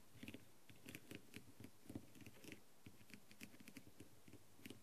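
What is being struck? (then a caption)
Plastic mask set with rhinestones. The clear tip of a green light-up tool taps rapidly over the gold rhinestone edge and blue stones of a hollow plastic masquerade mask covered in blue and gold rhinestones, resting on a tray. Eighteen quiet, dry, clicky taps come in an uneven patter, each pairing a soft low knock with a bright tick and dying away almost at once.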